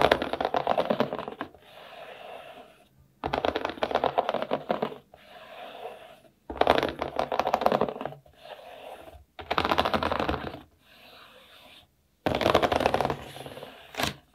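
One hand rubs and scratches its fingertips and nails back and forth across the round studs of a large, flat, dark-blue plastic building-brick baseplate, a solid board with nothing built on it. Five loud bursts of dense, rapid clicking scratches alternate with softer, quieter rubbing passages. The sound is dry and papery, centered in the midrange with brief bright edges.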